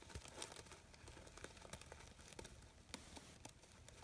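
Fingers with long nails crumple and rub the petals of a red crinkled-fabric artificial poppy flower with yellow stamens. The result is a quiet, steady crinkling rustle scattered with many sharp, bright little crackles and soft taps.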